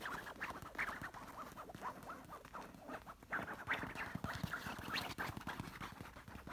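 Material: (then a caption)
Silk fabric. Long nails scratch, trace and tap across a large, soft orange stuffed pillow covered in silky, textured fabric. The result is a steady run of quick, dry scratching rasps and soft swishes, with brighter scrapes standing out among muffled taps.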